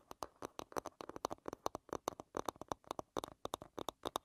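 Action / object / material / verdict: tap / wooden hairbrush back / wood / none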